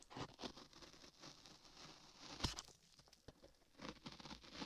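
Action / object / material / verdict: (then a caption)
scrape / modeling clay over a microphone, scraped with a metal chisel / modeling clay / none. A flat metal chisel held in a latex-gloved hand scrapes and carves beige modeling clay packed solid over a 3Dio microphone ear in repeated strokes. Close, quiet, bright scraping and crackly patter come in bursts, with a sharper, fuller scrape-thump near the middle.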